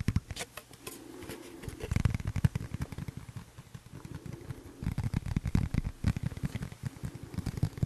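A thin, flat, solid, clear tempered glass phone screen protector has its edge scratched and tapped with a fingernail, then the glass is handled with both hands. The result is a rapid run of short, dry clicks and taps with soft scratching in between, mostly low and dull in tone, with almost no ring after each tap.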